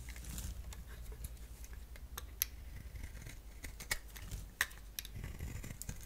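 A solid bar soap with an orange core, held in the hand, is shaved into curls with a box-cutter blade. Soft, steady scraping and crisp little clicks run over a low background hum, with three sharper, bright snaps standing out as the blade cuts through.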